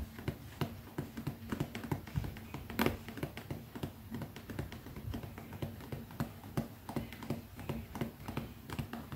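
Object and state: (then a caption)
Leather zip pouch. Long fingernails tap rapidly on the top of a small, closed, black textured leather zippered manicure pouch held flat in one palm. The taps come as a fast, uneven stream of short, dull clicks with a soft low thump and almost no ring. A faint steady low hum runs underneath.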